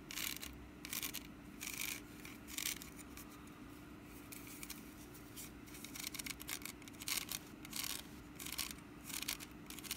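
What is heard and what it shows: Long nails scratch the ribbed, woven sides of a small, hollow orange wicker pumpkin basket held in one hand. Irregular bursts of bright, dry rasping come and go over a faint steady hum.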